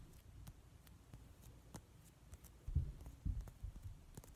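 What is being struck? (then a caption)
Rubber stress ball filled with glitter gel. A palm-sized, soft, translucent rubber or vinyl squishy stress ball filled with gold glitter gel is squeezed and deformed by fingers while its surface is tapped and scratched with medium-length nails painted in mint polish. Quiet, dull low squishes and soft taps come at an uneven pace, with faint bright clicks from the nails. Two louder, deeper squeezes stand out near the end.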